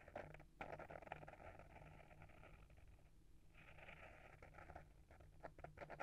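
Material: Paper, board.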